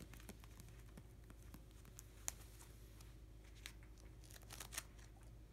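Fingertips and nails scratch and tap along a plastic nine-pocket sleeve page of hockey cards in an open binder, brushing over the sleeves and card edges. The result is quiet, crinkly scratching with sharp, bright little ticks over a steady low hum.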